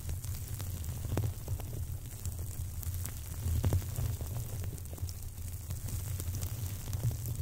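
Two long, dried millet seed sprays, natural plant stalks with dense seed heads, are held crossed close to the microphone and rubbed and scratched against each other with fingertips. The sound is a steady, soft, dry rustling and crackling over a constant low rumble, with faint scattered ticks and a few slightly louder scrapes.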